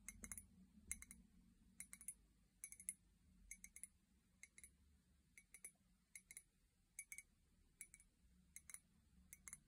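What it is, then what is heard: Ceramic mug. An empty, hollow white ceramic mug with a pink handle, held by its handle, is tapped with long painted nails. Quick clusters of light, bright clicking taps repeat throughout, each dying away almost at once with only a faint high ring, over a soft low background rumble.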